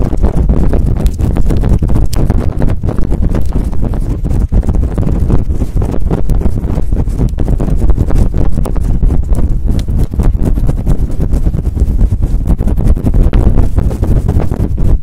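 Long acrylic nails and fingertips scratch quickly and hard through a fluffy grey faux fur windscreen covering a microphone. The result is a loud, continuous, dense rustling and rumbling, with nearly all its energy in the deep low end and almost nothing bright. The texture stays steady throughout, with rapid small bursts and no pauses.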